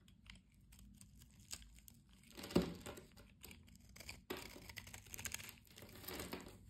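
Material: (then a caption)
Soap. A blade cuts into the pre-scored surface of a solid blue-and-white striped bar soap held in the hand, breaking it into crumbling flakes. Quiet, dry crunching and crinkly scraping continue throughout, with a louder crunch partway through and another sharp cut after it, leaving a trail of small crackles.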